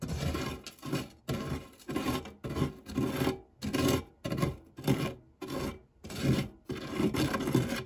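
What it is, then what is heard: Metal tart tin scraped with a spatula. The edge of a silicone spatula scrapes back and forth across the dark, textured nonstick base of a shallow, round, fluted metal tart tin, pushing crumbs around the otherwise empty tin. The result is a steady run of dry, gritty rasping strokes with a low, hollow body and short bursts of bright crumb crackle.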